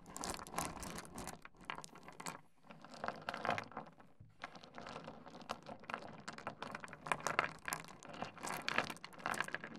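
A pile of small, solid stone pebbles on a wooden desk is cupped, grabbed, rubbed together and dropped by hand. The result is a dense stream of short, crunchy clicks and rattles with bright, crackly highs. It eases briefly to quieter moments around the second and fourth seconds before the clattering builds again.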